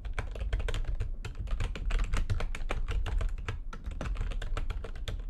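Fast typing with long nails and fingertips on a full-size plastic computer keyboard with white backlighting and a hollow housing. A dense, steady run of quick clicky keystrokes carries a strong low thump and bright tapping tops, each tap dying away quickly.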